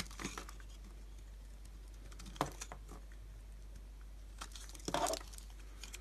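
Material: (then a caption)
Soap. A utility knife shaves thin slices off the surface of a solid, palm-sized, translucent pink bar of dry soap held in the hand. Short, dry crackling scrapes come in scattered bursts, with the loudest crunch near the end, over a faint steady low hum.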